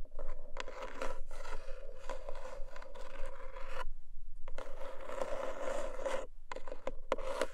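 Long nails scratch and tap the textured lid of a small, long, closed black cardboard jewelry gift box. The result is a dry, rasping scrape broken by quick light taps, pausing briefly around the four-second mark and again near six seconds before the scratching resumes.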